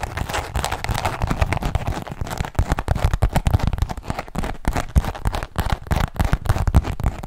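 A small black perforated leather zip wallet held in both hands is tapped and scratched with fingertips and nails. Many quick, dense, low-heavy taps overlap with crackly scratching for the whole clip, with no clear pauses between them.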